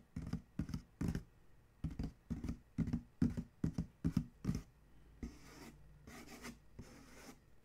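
Fingers rub across the printed side of a corrugated cardboard shipping box in a run of short, dull, low-heavy strokes. A fingertip then scratches and traces the printed lettering, producing softer, longer, airy scraping passes that fade toward the end.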